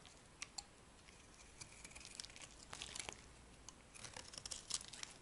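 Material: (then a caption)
Soap. A solid white bar of soap is shaved with a metal blade, and brittle slices break off. The result is a quiet run of bright, dry crackles and crisp snaps that come irregularly, some sharper than others, over a faint hiss, with almost no low end and no ring after each snap.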